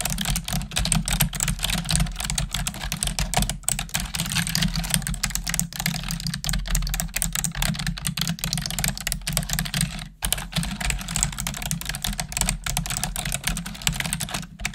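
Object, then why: Plastic computer keyboard. Long acrylic nails and fingertips type rapidly on a black plastic desktop computer keyboard, producing a dense stream of bright, sharp clicks and clacks. A steady low hum runs underneath, and brief pauses in the typing come at about 3.6 and 10 seconds.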